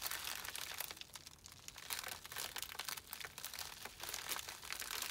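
Thumbs and fingertips press and rub the plastic surface of a small white poly bubble mailer with a printed label that holds a small item. The result is a dense, continuous run of bright, crisp crinkles and crackles, with almost no low end, that swells and eases over five seconds.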